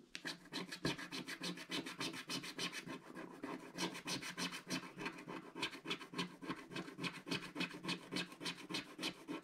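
A wooden stick scratches away the coating of a flat, solid, black-coated scratch-art card page in repeated short strokes. About 35 quick, bright, dry scratches follow one another in a fairly steady rhythm of roughly three to four per second, each dying away almost at once.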